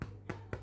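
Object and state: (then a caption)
Baked-through loaf of bread (hollow). A homemade loaf of bread, fresh from the oven, is tapped three times on its bottom on a chopping board. Each tap gives a short, low, hollow thump. The hollow sound shows the loaf is cooked through.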